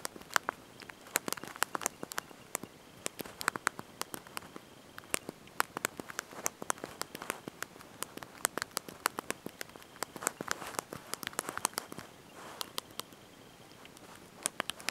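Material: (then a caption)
Plastic. Thumbs and fingertips press and tap the small backlit plastic keys of a handheld slide-out mobile phone's QWERTY keyboard while typing a message. The result is a quiet, fast, irregular stream of short, dry, bright clicks with almost no ring or low end, with brief pauses between bursts.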